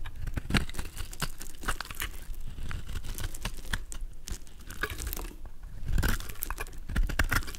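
A golden utility knife blade scrapes and shaves a palm-sized, solid white soap bar with a yellow outer layer, held in the hand, into curls and flakes. The result is a steady run of dry, crinkly scraping and crunching with many quick, closely packed cuts, mostly low in weight with brief bright ticks.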